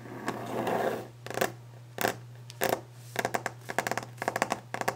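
Long nails and fingertips scratch across a solid, glossy varnished wooden desk top, then tap on it fast and hard. A rough scraping swell in the first second gives way to sharp, dry clicks and knocks that quicken into dense bursts toward the end. A faint steady low hum runs underneath throughout.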